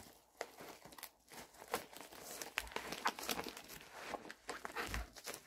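A medium-size pink poly bubble mailer envelope with a shipping label, hollow inside, has its flap pulled and is crinkled with fingertips. The result is continuous bright crackling and crinkling with short sharp snaps scattered throughout.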